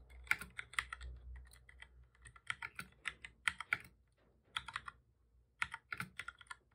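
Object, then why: Plastic computer keyboard. Both hands type steadily with the fingertips on a full-size black plastic keyboard with a hollow body, resting on a desk. Quick, bright clicks come in bursts with short pauses between them, and each key tap dies away almost instantly.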